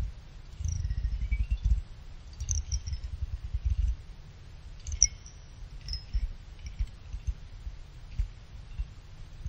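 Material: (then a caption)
Aluminum. A small pick clicks and scrapes along the side fins of a small finned aluminum CPU cooler heatsink. Bright, high metallic pings and short chirps cut off quickly, over a steady low rumble that dominates the sound.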